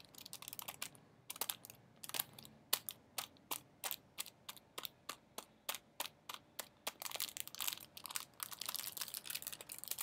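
A small, flat metallic foil-and-plastic sachet is held in one hand against a wall while the fingers of the other hand press and crinkle it. Busy, bright crinkling at the start gives way to a run of evenly spaced, sharp crackles, each dying away almost instantly. Dense, continuous crinkling returns toward the end, with almost no low end throughout.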